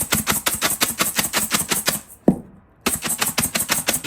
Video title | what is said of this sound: Guyanese Fried Dhal -- Bruk Teeth 😬 #guyaneserecipe #streetfood #villagelife #villagecooking #dhal | you hear that crunchiness